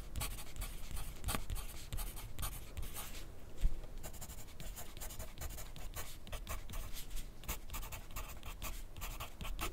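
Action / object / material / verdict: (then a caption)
scrape / graphite pencil on paper sheet over plastic clipboard / paper / none. A graphite pencil tip writes on a sheet of lined white paper clipped to a white plastic clipboard on a desk, with the other hand resting on the sheet. It makes a steady run of soft, dry scratching strokes in short bursts, with bright hiss on each stroke and a low, dull thud underneath. One slightly louder knock comes at about 3.7 seconds.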